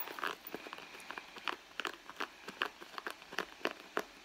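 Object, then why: Leather handbag. Long blue nails scratch and rub the soft leather surface of a red leather handbag. A quiet series of short, dry, crinkly scratches repeats with bright, crisp bursts and almost no low end. Each stroke stops dead with no ring.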